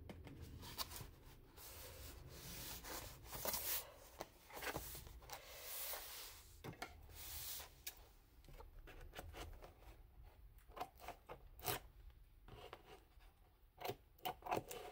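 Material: Cardboard.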